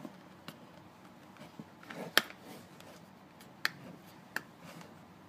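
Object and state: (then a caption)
Cardboard toothpaste box. Fingertips and short nails tap and scratch the narrow faces of a closed, thin paperboard toothpaste carton as it is turned onto its side and end. Soft, dry scratching and faint taps sit under three sharp, bright clicks that stop almost instantly, against a quiet, hissy background.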